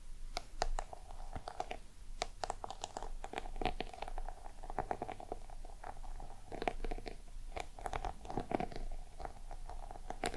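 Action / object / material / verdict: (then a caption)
tap / small round box with embossed faux-leather surface / faux leather / none. Long nails tap and scratch the textured sides of a small, hollow, round black crocodile-embossed box. The quiet clip is a dense run of short, dry clicks and scrapes over a low rumbling background, with a hollow tone ringing around 720 Hz.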